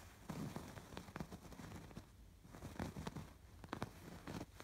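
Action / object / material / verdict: scrape / stuffed fabric pillow with raised embroidery / fabric / none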